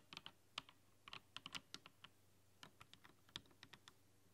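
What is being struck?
Mechanical keyboard with plastic keycaps.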